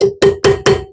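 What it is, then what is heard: Fully seated brake pad retaining pin. A metal brake pad retaining pin on a Ferrari brake caliper is tapped in with a drift. Four sharp, ringing taps with a clear tone near 395 Hz each decay quickly. The pin gives the solid sound of being fully seated and needs no more force.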